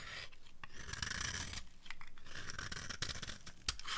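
A metal knife blade scrapes and carves the edge of a solid rectangular bar of dry white soap held in one hand, producing crunchy flakes. The sound is a steady, dry rasping scrape with bright, crackly high texture over a low rumble, broken by a few sharper crunchy clicks.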